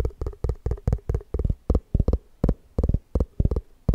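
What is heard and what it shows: Fingertips tap quickly on the side and rim of an empty, hollow white round plastic Tupperware container. Each tap is a short, dull, low thud with almost no ring, and some land in quick pairs. The rhythm is fast but uneven.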